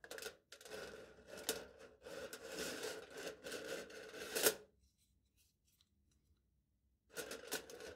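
A knife blade cuts a slit across smooth aluminium foil stretched flat over a hollow cup, making bright, crinkly scraping and tearing bursts with a midrange tone. The cutting runs continuously for about four and a half seconds and ends in a sharp snap. After roughly two seconds of near silence, the crackling scrape starts again.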